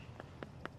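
An unripe pomegranate still hanging on the tree is tapped three times to check whether it is ripe. Each tap is a short, dull knock with a mid-range body around 360 Hz and almost no ring, over a faint low background hum. The fruit is not ripe yet.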